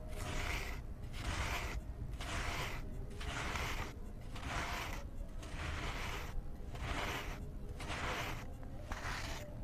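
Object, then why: Cement disc. A flat blade held in the fingers scrapes and shaves crumbly layers off a round, solid grey cement disc sitting in cement powder. Repeated gritty, rasping strokes come at a loose, roughly one-per-second rhythm over a low, steady rumble. Each pass leaves gritty cement chunks behind.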